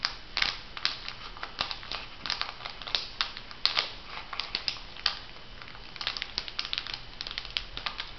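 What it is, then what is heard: Foil sheet-mask packet being crinkled. A flat, printed foil sheet-mask packet, still filled, is crinkled and scratched by fingers and nails. The result is a steady stream of bright, crisp crackles and sharp ticking scratches, mostly high in pitch with little low end. Each snap dies away almost instantly.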